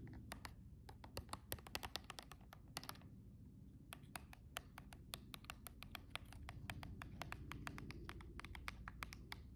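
Long jeweled nails tap the clear plastic window and the cardboard edge of a silver cardboard nail box held upright and tilted. The result is a quick, uneven run of short, sharp clicks with a bright edge, each dying away at once over a steady low background hum.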